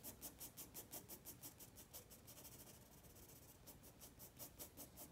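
A black pencil shades with back-and-forth rubbing strokes across a white spiral sketchpad page resting on a wooden table. Each stroke makes a soft, bright scratchy hiss in a steady rhythm of about three strokes per second. In the middle the strokes blur into a continuous quieter scratch before the distinct rhythm returns.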